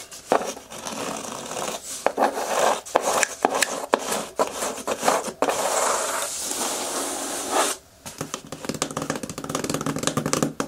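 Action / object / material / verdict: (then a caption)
scrape / corrugated cardboard box / cardboard / none. Fingertips and long nails scratch and tap the top and front flap of a medium, closed, hollow corrugated cardboard shipping box. Dry, bright scraping and rubbing alternate with sharp taps, and a steady stretch of continuous scratching is followed by a brief pause. The clip ends in a quick run of light tapping.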